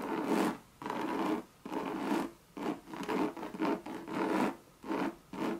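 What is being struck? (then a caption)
Coated canvas handbag with leather trim. Long red nails scratch a Louis Vuitton monogram coated-canvas bucket bag and its leather rim in repeated rasping strokes, each separated by a brief pause. The strokes are broadband scrapes with a faint tonal hum near 230 Hz and a brighter band around 900 Hz, cutting off quickly after each one.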